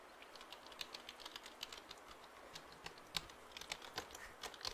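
A full-size black plastic computer keyboard with a hollow body is held in both hands near the mic while fingertips tap and press its keys. The result is a quiet, steady run of quick, bright plastic clicks that stop instantly, with almost no low end, over a faint hiss. A few taps stand out louder than the rest.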